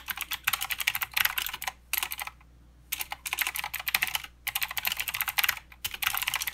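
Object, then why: Mechanical keyboard with plastic keycaps. Both hands type with their fingertips on a mechanical keyboard with plastic keycaps and blue switches. Rapid runs of bright, crisp clicks come in bursts, broken by short pauses near two, two and a half, four and a half, and five and a half seconds. Each keystroke dies away almost instantly, with hardly any low end.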